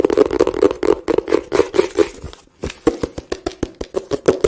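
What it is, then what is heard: Cardboard box. A small, hollow blue-and-white printed cardboard product box is held in both hands and tapped and scratched with fingertips and nails close to the microphone. A quick series of short, dry, hollow taps rings with a boxy tone around 410 Hz, mixed with soft scratching. The taps briefly pause near the middle, then return more evenly spaced.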